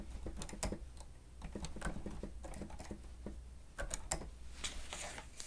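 Keys on a grey plastic stenotype machine with a screen are pressed rapidly with the fingertips and nails of both hands. The result is a quick, uneven patter of short, dry clicks and taps over a low steady hum, with a few sharper, brighter clacks standing out toward the end.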